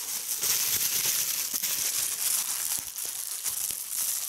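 A small gathered piece of clear plastic bubble wrap is held in both hands while fingertips with red-painted nails squeeze and pop the bubbles. The result is a continuous bright crinkling hiss with sharp little pops scattered through it.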